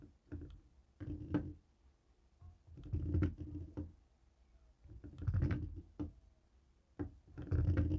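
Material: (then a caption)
Plastic. A jade roller stone taps and rolls over the many rubber buttons of a long, dark grey plastic cable TV remote lying on a wooden table. The result is soft, low, muffled clicks and rolling rumbles that come in irregular bursts separated by quiet pauses.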